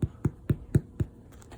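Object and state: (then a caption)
Hollow-sounding, fully baked loaf. Someone taps the bottom of a finished rye sourdough loaf made from 60% white flour and 40% rye, producing five short, dull, hollow low thumps at an even pace, followed by a few faint softer taps. The hollow sound shows the loaf is baked through.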